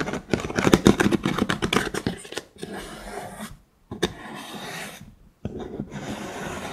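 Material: Wood.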